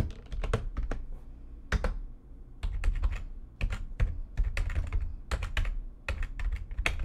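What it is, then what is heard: Plastic computer keyboard being typed on. Long-nailed fingertips type fast on the keys of a full-size, low-profile, backlit plastic computer keyboard resting on a desk. Quick bursts of sharp, bright clicky taps ride over soft low thumps, with brief pauses around two and three and a half seconds.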